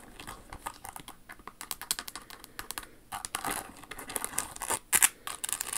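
Long acrylic nails tap and scratch a single Jimmy Choo silver high-heel pump covered in rhinestones, with a large crystal bow on the toe and a leather sole. Quick, bright clicks and crisp scratching come in a rapid, uneven stream, with almost no low end and each tap dying away instantly.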